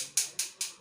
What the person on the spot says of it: और अधातु से अधातु को पीट रहे हैं। देखिए कैसा बज रहा है, सुनिए, थप थप आ रहा है कि नहीं।